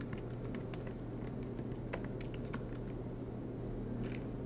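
Fingertips tap out quick, irregular keystrokes on the black plastic keys of an aluminum MacBook Pro laptop. Soft, bright clicks scatter across a steady low hum, with a brief louder cluster of taps near the end.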